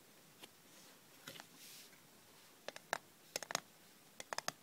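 Long red nails scratch and rub the sides of a small, closed, hollow hinged aluminium cough drop tin, and the tin is then turned over. Soft, faint scraping and a brief rub come first, followed by a run of sharp, bright metallic clicks and ticks with a tinny ring around 690 Hz that die away almost instantly.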